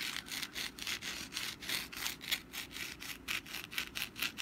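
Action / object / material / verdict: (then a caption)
scrape / papier-mache pumpkin decoration / papier-mache / none. Long black nails scratch the textured surface of a hand-sized, rust-brown papier-mâché pumpkin decoration that is held in the hand and then set on a mat. The result is a quick, somewhat uneven run of dry, bright, hissy scratching strokes, each short and close to the next, with almost no low end.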